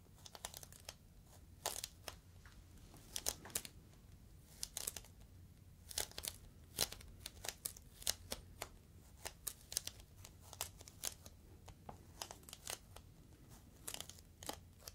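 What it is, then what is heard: Plastic air column cushion. Fingertips squeeze and crinkle the top of a clear, inflated plastic air-column cushion bag, giving many short, sharp, bright crackles and crinkles. The crackles come in irregular bursts over a faint low hum, each dying away almost instantly.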